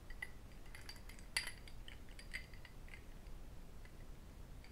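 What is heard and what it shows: An empty small cut crystal whisky tumbler, held in both hands, is tapped and clinked with fingertips and metal rings. Soft, scattered taps mix with sharper, bright glassy clinks that ring high and die away almost at once, one clink standing out louder than the rest. A low, steady rumble sits underneath throughout.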